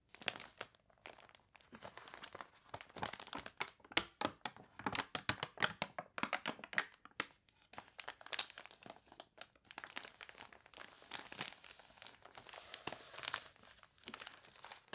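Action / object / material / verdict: scrape / glossy paper catalog pages / paper / none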